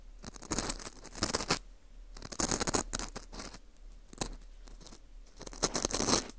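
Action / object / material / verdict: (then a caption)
scrape / dried wheat gluten ring (fu) scraped with a metal pick / wheat gluten / none. A metal hook pick scratches inside the hole of a dry, porous ring of dried wheat gluten (fu) held in a gloved hand. Crisp, bright scratching and crunching comes in bursts separated by quiet pauses.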